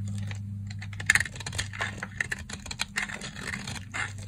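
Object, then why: Stack of soap bars cut with a blade. A box-cutter blade cuts and scrapes a stack of dry, cream-colored solid soap bars, with shavings falling onto a white surface. A quick run of crisp, bright clicks and crumbly scratches comes over a steady low hum, with the sharpest crackles near the one-second mark.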